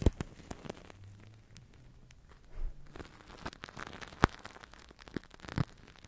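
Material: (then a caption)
Plastic film. A large, thin-walled, hollow, blue translucent plastic-film toy bubble (Crystal Ball), empty and air-filled, is held over the microphone and squeezed and crinkled with long dark-painted nails and fingertips. Quiet, low-heavy rustling and crinkling is broken by scattered sharp crackles and clicks, with a few louder snaps standing out.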